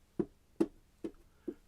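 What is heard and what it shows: An amplifier's top panel, fitted with an HRS damping unit, is tapped four times, giving short, dull knocks centered low in the midrange. Each tap dies away almost at once with very little ringing, showing the panel's resonance about 99 percent gone.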